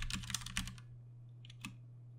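A compact 60% Ducky One 2 Mini mechanical keyboard with plastic keycaps and Cherry MX Brown switches is typed on with the fingertips of both hands. A quick burst of bright, crisp key clacks fills the first part, followed by a pause and a few scattered single keystrokes. A steady low hum runs underneath throughout.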